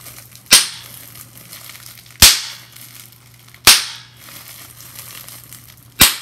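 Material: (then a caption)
Plastic. Fingers squeeze and pop bubbles on a clear plastic bubble wrap sheet, producing four sharp, bright pops at uneven intervals. Each pop fades within a fraction of a second, with faint plastic crinkling and a low steady hum in between.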